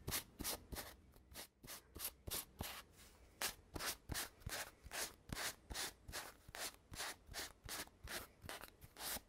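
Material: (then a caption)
Cardboard. Fingertips and nails rub and scratch along a hollow red cardboard tube with metal end caps and a gold-rimmed cap. About two dozen short, bright scratching strokes follow one another at a quick, slightly uneven pace, each a brief dry rasp with a little low hollow body underneath.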